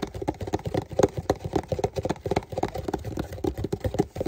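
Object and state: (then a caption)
Cardboard shipping box. A medium Walmart cardboard shipping box, hollow and closed and held in both hands, is tapped and scratched with fingertips and short painted nails. A quick, uneven run of about twenty dull, hollow taps gives soft, muffled thuds with very short decay and almost no brightness.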